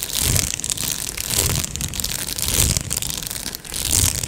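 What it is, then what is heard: Plastic padded mailer, scratched and crinkled. A medium-size, hollow Amazon Prime padded plastic mailer is scratched with long nails and fingertips and crinkled. The result is continuous bright, crackly rustling with soft low thumps underneath, swelling and easing in uneven waves.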